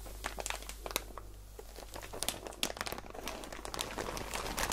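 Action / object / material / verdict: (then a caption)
shake / plastic bag filled with cotton balls / plastic / none. A clear plastic packaging bag filled with about 100 soft, full cotton balls is held in both hands with long painted nails and squeezed. The plastic gives off a steady run of bright, close crinkles and crackles over a low constant hum.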